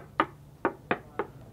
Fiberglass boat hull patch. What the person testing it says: if you knocked up here and then knocked down here it was completely different sounds and now sounds the same